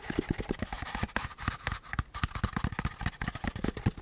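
Fingertips tap and scratch the curved surface of a hollow beige molded paper pulp packaging insert with a central groove. A rapid, uneven series of dull, low, hollow taps is heard, with soft papery scratching in between.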